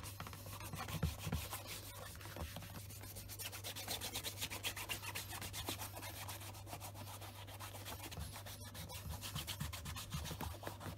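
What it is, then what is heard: Leather shoe being rubbed with a cloth. A second black leather Scotch Grain wingtip shoe sits on a desk mat and is wiped across the upper with a white cloth wrapped over the fingertips. Quiet, brisk rubbing strokes repeat about four times a second, with a soft, bright swishing texture over a steady low hum.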